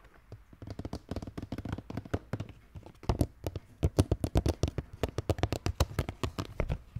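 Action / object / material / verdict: tap / plastic skull-shaped bucket with brain-shaped lid / plastic / none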